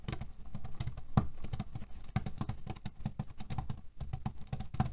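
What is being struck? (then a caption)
Cotton pillow filled with cherry pits. Fingernails rapidly tap and scratch on a cotton cushion filled with cherry pits. The result is a dense run of dull, low, dry taps with brief rattling clicks from the shifting pits, each dying away almost instantly.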